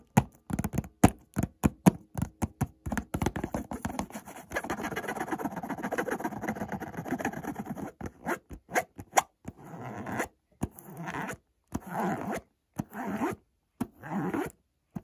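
Fingertips and short nails scratch and trace across the printed front of a hollow, white printed cardboard Montblanc perfume box. Quick dry taps and scratches come first, then a steady rasping scratch runs for several seconds before breaking back into short bursts and pauses. The sound is dry, close and low-to-mid heavy, with no ring.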